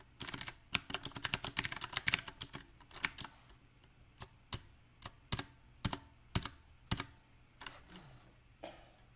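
Fingertips type on a compact, backlit mechanical keyboard with round plastic typewriter-style keycaps. A quick burst of sharp, bright clicks gives way to slower, uneven single key taps, each dying away almost instantly.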